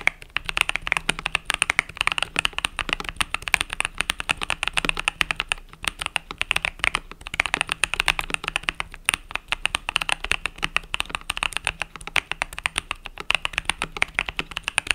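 Fingertips type rapidly on the pastel purple and yellow plastic keycaps of a compact mechanical keyboard, producing a dense, continuous stream of sharp, bright clicks and clacks with almost no ring. The rhythm runs steadily through the whole clip, with brief pauses near six and nine seconds and a faint low hum underneath.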